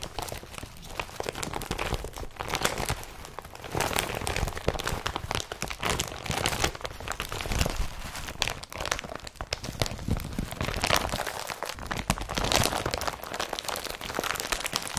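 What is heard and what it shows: An empty blue IKEA BRATTBY carrier bag made of woven polypropylene is opened up and crinkled and rubbed with both hands. The result is steady, dense crinkling and crackling with sharp rustling bursts and a bright, broad texture that swells and eases throughout.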